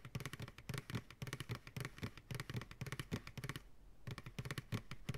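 Fingertips and nails tap quickly on the sides of an empty, upside-down medium white plastic ice cream pail. The rapid taps give hollow, low thumps with bright clicking edges, pause briefly, then resume.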